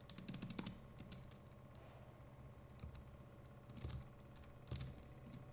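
Fingertips of both hands type on a compact Logitech MX Keys Mini keyboard with plastic keycaps. A fast burst of crisp, bright key clicks opens the clip, followed by scattered, softer taps and a few duller thumps over a low steady hum.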